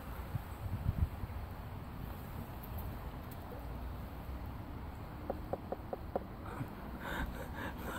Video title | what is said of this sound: July mudlarking river walk - 1st ever Stoneware Bottle / Brick heaven / Mystery metal bits | That sounds solid. That's clearly not a mushroom.